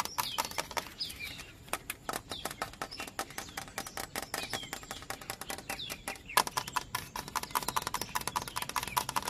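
A fingertip and fingernail tap rapidly and irregularly low on a hollow yellow bamboo culm outdoors, producing sharp, dry, clicky knocks with a faint hollow tone around 1 kHz. Birds chirp in the background throughout.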